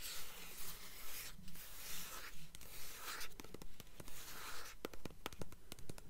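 Long nails scratch and tap a blue hardcover book with a paper dust jacket, held tilted and then turned to show its spine, moving from the cover to the spine. Soft, airy scraping strokes come in a steady rhythm, then give way to a run of quick, sharp, dry taps with very short decay.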